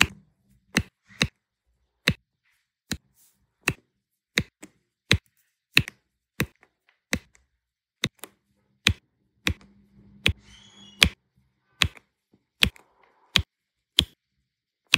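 A plastic multi-placer tool taps small solid turquoise resin diamond-painting drills down in rows onto a printed adhesive canvas. About 20 sharp, bright clicks sound at a steady, unhurried pace, each dying away almost instantly. A faint low hum sits under the taps near the middle.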